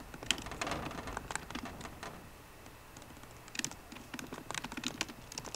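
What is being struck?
Laptop keyboard with plastic keycaps on an aluminium body.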